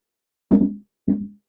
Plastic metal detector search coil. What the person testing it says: when I put it on the ground, it sounds hollow